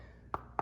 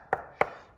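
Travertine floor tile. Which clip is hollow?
The first.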